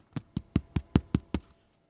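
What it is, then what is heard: Baked-through bread loaf (hollow). The bottom of a freshly baked sandwich loaf, just out of the oven with golden sides and reading about 195-200 on a thermometer, is knocked seven times at a steady pace. Each knock is a short, dull, low thud with almost no ring. It sounds hollow, the sign the loaf is baked through, and when cut it shows a soft, light, fluffy crumb.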